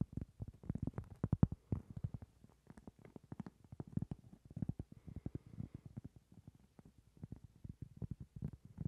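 Fingertips and nails tap and scratch the surface of a round, solid cork trivet held close in front of a microphone. The result is a rapid, uneven stream of soft, dull, low taps that stop short with almost no ring, plus a faint scratchy rustle around the middle.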